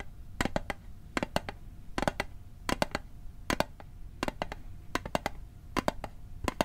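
A metal Altoids mint tin is tapped with quick, light taps that come in short bursts of two to four. Each tap is a sharp, bright click that dies away almost instantly, with a faint steady tone underneath.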